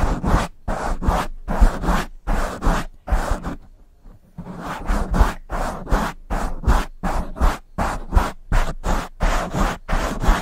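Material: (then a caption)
Foam. Long fingernails and fingertips scratch and stroke the sides of a soft, hollow black foam windscreen on a silver microphone. The result is a run of short, broadband scratching strokes, mostly low and muffled, with a brief quiet pause near the middle. Roughly 22 strokes are heard at an uneven pace.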